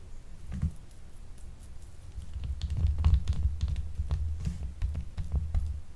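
A small, solid, purple marbled, gemstone-shaped glycerin soap bar, unwrapped and held in the hands, is scratched with long acrylic nails. Soft, irregular scratching and tapping sounds come with a deep, muffled rumble and faint bright clicks on top. The scratching grows a little louder midway and then stays steady.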